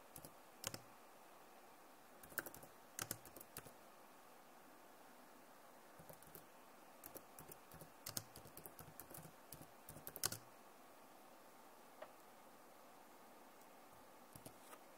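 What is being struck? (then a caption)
Plastic laptop keyboard. Long nails type and tap on the keys of a backlit plastic laptop keyboard. Quiet, sharp clicks and bright ticks come in scattered bursts with short pauses, each tap dying away almost instantly.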